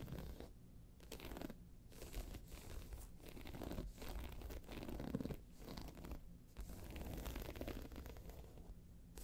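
Long pointed nails on one hand scratch and tap the round face of a round, hollow, tan croc-embossed faux leather handbag lying on its side. The result is a quiet, steady, low, rasping scrape with soft, dull taps mixed in and very little bright edge.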